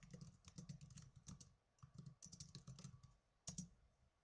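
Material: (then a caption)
Plastic. Fingertips with blue nails type on the plastic keys of a small black plastic netbook. Quick bursts of short, dry clicks each combine a low thump with a bright tick, broken by brief pauses. A final pair of sharper taps fades out quietly.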